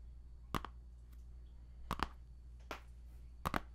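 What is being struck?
Plastic CD jewel case in cellophane wrap.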